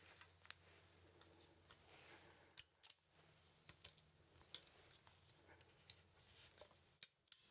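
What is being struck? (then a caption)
Wooden artist mannequin. Fingers bend the arms of a small, solid wooden poseable artist mannequin, and its joints click rapidly. A scattered series of short, sharp, bright clicks, centred around 3.4 kHz, sounds over a steady low hiss and faint hum.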